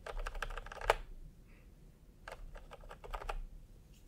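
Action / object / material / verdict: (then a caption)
tap / plastic computer keyboard with round keycaps / plastic / none. Fingertips tap on a full-size plastic typewriter-style computer keyboard with round retro peach and cream keycaps, lying on a white cloth. Two runs of quick, dry plastic key clicks are separated by a pause, with one sharper, louder click ending the first run. Each click dies away almost instantly over a faint low background hum.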